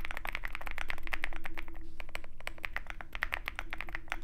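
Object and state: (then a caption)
Mechanical keyboard being typed on. Both hands type steadily with their fingertips on a compact 65% Zoom65 mechanical keyboard with white plastic keycaps and a dark metal case. The result is a fast, slightly uneven stream of short, crisp clacks with a bright ring near 2 kHz. A steady low hum sits underneath.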